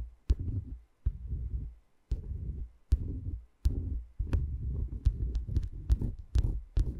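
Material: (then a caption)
Wood. Long dark-painted nails tap and scratch across the tops of the small, light, solid wooden cylindrical pegs on a dome-shaped wooden massager. Sharp, bright clicks start bursts of deep, muffled, thumping rustle that come and go in uneven clusters, quickening toward the end.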